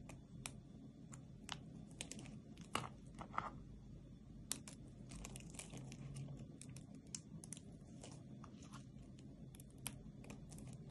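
Long painted nails and fingertips rub and pinch a flat pile of small, dry pink, green and white soap shavings and solid, brittle soap pieces on a dark surface, crumbling them. A quiet, steady bed of dry crinkling carries many sharp, bright crunchy clicks and snaps, with a few louder cracks standing out.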